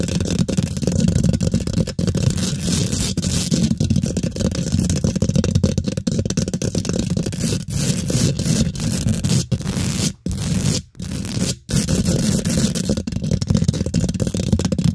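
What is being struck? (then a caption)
Steel mesh microphone grille scratched with fingernails. Long pink nails scratch and tap fast on the hollow steel mesh head of a microphone's metal grille. The result is a dense, rough scratching with a heavy low boom and rapid clicking taps, broken by a few brief silent gaps near the end.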